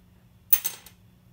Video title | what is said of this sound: What's the best material for nuts or saddles? | graphite a little bit of a ping to it